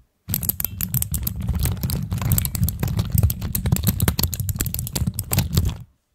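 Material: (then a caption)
Plastic. Long acrylic nails tap, press and click the keycaps of a pastel plastic keycap fidget cube on a black stand, rapidly and with both hands. A dense, steady stream of sharp, bright clicks rides over a low, thumpy body for about five and a half seconds before stopping abruptly.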